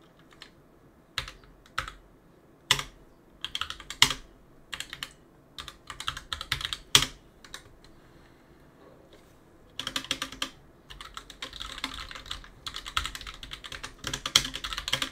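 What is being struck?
Plastic and aluminium mechanical keyboard.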